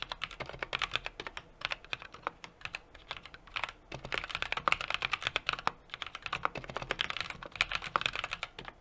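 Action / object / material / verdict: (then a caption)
tap / mechanical keyboard with metal case and plastic keycaps / plastic, aluminum / none. Steady two-handed fingertip typing on a 60% mechanical keyboard with an aluminum case, brass plate and plastic keycaps. Fast, dense keystrokes make short, crisp clacks with a bright upper-mid tone, almost no low end and no ring after each press. The rhythm runs continuously, with a few louder strokes throughout.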